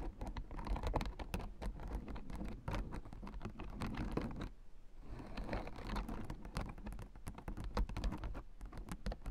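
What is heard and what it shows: Long nails rapidly tap and scratch the white plastic spiked rosettes of a blue plastic acupressure mat. The result is a dense, continuous patter of quick clicks and scratches, with a brief lull just before the midpoint.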